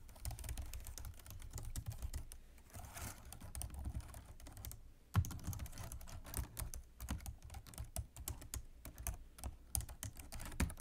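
Both hands type rapidly with fingertips and long nails on a black plastic computer keyboard resting on a desk. A dense stream of short, dry key clicks and taps carries a low, thudding body, with a brief lull just before a sharper strike about halfway through.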